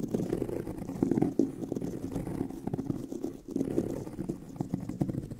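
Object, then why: Pebbled leather handbag. Fingernails scratch the tan pebbled leather of a handbag near its seam, the hollow bag body giving the sound a muffled resonance. The result is a dense, continuous rasping texture of quick, rough strokes, concentrated in the low-mid range with almost no high or bright content.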